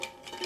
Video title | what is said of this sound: peacockeyelids | can you hear? There's already some in there.